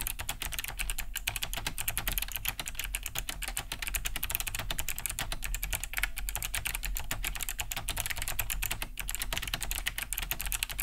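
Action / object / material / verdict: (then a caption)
tap / plastic mechanical keyboard / plastic / none. Both hands type fast with fingertips on a large beige Cherry G80-3000 keyboard fitted with Kailh BOX White switches, with a hollow plastic case and thick plastic keycaps, resting on a wooden desk. A dense, steady stream of sharp, clicky key-switch taps with bright, crisp tops fills the clip, each tap dying away almost at once over a low rumble.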